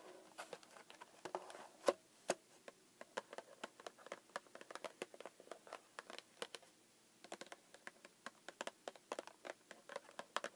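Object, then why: Small cardboard snack box. Long acrylic nails on both hands tap and scratch the top and side panels of a small, hollow pink cardboard Pocky box that appears full and lies on a desk. The result is a quiet, quick patter of dry, short clicks with a hollow midrange tone and bright tips, with no low end. There is a brief pause near the middle before the tapping resumes.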